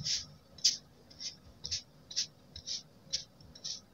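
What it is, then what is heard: Kinetic sand being stamped. A metal-handled stamp with a black rubber tip is pressed and tapped repeatedly into a flat, solid spread of blue kinetic sand with a waffle-textured surface, compressing it. Nine soft, bright, crunchy squishes come at an uneven pace, each one short and quiet with almost no low end.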